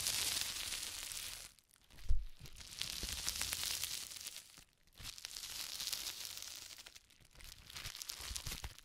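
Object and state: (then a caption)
Plastic bubble wrap. Fingertips press, squeeze and crumple a sheet of clear plastic bubble wrap with air-filled bubbles on a wooden table. The sound is a steady bright crinkling and rustling, with soft low pops and one louder dull thump around two seconds in. It comes in three stretches separated by brief near-silent pauses.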